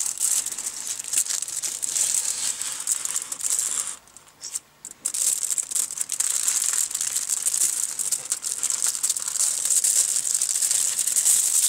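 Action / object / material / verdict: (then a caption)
scrape / aluminium foil wrapped around a flat box / aluminium foil / none. Bare fingertips and palms press, rub and crinkle aluminium foil wrapped around a flat, book-sized rectangular box resting on a wooden table. The result is a dense, bright, high crinkling hiss with almost no low end, dropping to near silence for about a second around the 4–5 second mark before the crinkling resumes just as steadily.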